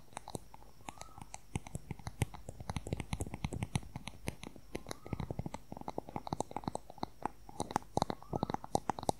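Fingernails rapidly tap and scratch along a long, thin, solid wooden color pencil, making a dense, quiet stream of short, dry clicks with almost no ring. Occasional brief scraping glides weave between the taps.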